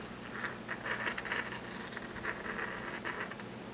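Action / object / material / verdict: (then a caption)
tap / glazed porcelain mortar and pestle / porcelain / none. A porcelain pestle taps and grinds against the inner wall of a small, empty, white glazed porcelain mortar held in the hand. It makes a series of light, ticking taps with a bright clink around 1.8 kHz, mixed with a soft scraping patter over a quiet background.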